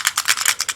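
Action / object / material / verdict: shake / plastic toy bottle with a loose inner piece / plastic / loose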